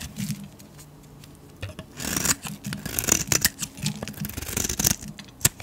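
A metal blade shaves thin curls off a solid yellow painted soap bar held in the hand. Quiet at first, it builds into a run of dry, bright scraping strokes with a crisp, papery hiss and short catches as the curls peel away.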